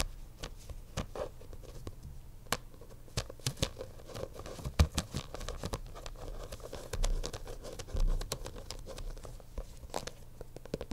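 Fingertips and short nails tap and scratch the black faux leather cover of a thick bound notebook lying on a desk, its pages visible at the edge. Quick, soft, dull taps come in irregular clusters over a low, muffled scratching rustle, with a few sharper clicks and a brief louder scraping swell near the middle.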